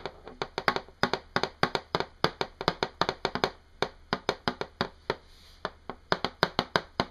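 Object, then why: Pair of small hematite magnets. A pair of small, solid, shiny oval hematite sizzle magnets, held one in each hand, are snapped together and tapped against each other quickly. About 36 sharp, bright clicks ring briefly in an uneven, rapid rhythm, with a short pause just before the five-second mark.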